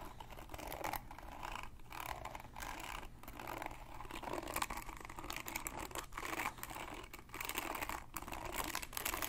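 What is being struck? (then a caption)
Plastic paddle hairbrush with pin bristles. Fingertips and nails scratch and pluck the dense pin bristles of a hand-sized red plastic paddle hairbrush with a black cushion. The result is a steady, bright, crackling scratch made of rapid tiny plucks and ticks, with brief dips between strokes and no lingering ring.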